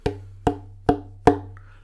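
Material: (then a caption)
Wood. A German violin from the 1920s, played for about 50 years, is tapped on its body four times. Each tap gives a short, woody knock with a pitch near 450 Hz that dies away almost at once.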